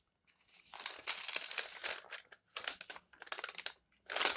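Flat hands and fingertips rub across the pages of an open paper magazine lying on a table and turn them. The result is a bright, dry crinkling rustle in several bursts separated by short silences, with almost no low end.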